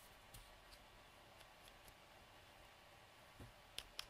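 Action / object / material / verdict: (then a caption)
tap / plastic cosmetic tube with cap / plastic / none. A small, hollow, light-blue plastic cosmetic tube has its snap or screw cap twisted and clicked on and off by fingertips and nails. Faint, scattered ticks and scratches over a quiet background lead to two sharp, bright clicks near the end.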